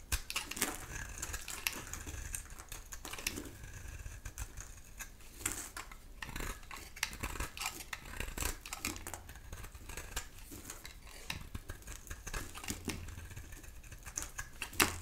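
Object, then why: Bar of soap cut with a metal blade. A dry rectangular bar of soap with a black outer shell and green core is held in the hand and shaved into long curls with a metal utility knife blade. Dense, crisp scraping and crackling strokes with bright, sharp edges repeat steadily through the clip over a low, steady hum.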